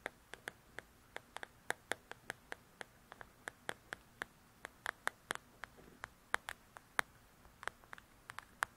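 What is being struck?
Paperback book with glossy cover.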